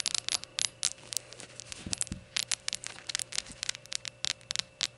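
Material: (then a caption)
Ceramic. Long gold nails tap a small glazed ceramic rainbow shot glass lying on its side, its empty opening visible. The result is a rapid, uneven series of sharp, bright clicks that stop dead with no ringing, plus a few softer, duller taps near the middle.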